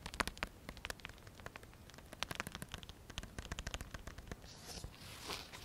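A small black nylon fabric belt pouch, a Pocket Radar case with a velcro flap, is held in both hands while fingertips tap, scratch and work the flap of the hollow case holding a device. Dozens of quick, dry crackling taps and clicks come in an uneven patter. Toward the end they give way to a broader, bright scratchy rasp from the flap.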